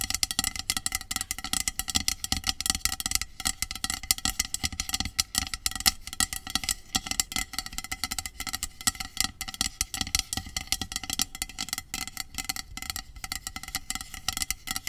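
Long pink acrylic nails tap and scratch along the body of a medium, hollow, pressurized aluminum dry shampoo aerosol spray can with a clear plastic cap, lying on its side. The result is a steady, rapid stream of bright, crisp clicks and scratchy rasps that are mostly high-pitched, with very short ring and little low end.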